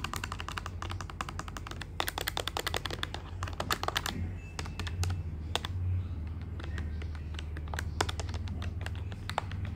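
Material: Plastic.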